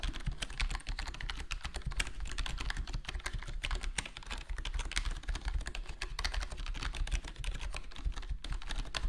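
Fingertips of both hands type steadily on a full-size black plastic HyperX Alloy Core gaming keyboard with square plastic keycaps and a foam-dampened (foam-modded) case. The result is a dense, continuous stream of quick, muffled key taps with a deep, low-heavy thock, a little bright click on top, and almost no ring after each stroke.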